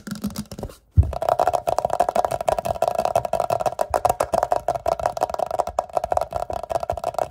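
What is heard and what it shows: Fast fingertip taps and fingernail scratches on an empty, hollow, clear glass jar, shown resting upside down on a grey towel and also held up. After a quieter opening and a brief pause, a dense stream of quick, dry clicks and scrapes begins. A steady midrange glassy tone rings beneath them and carries to the end.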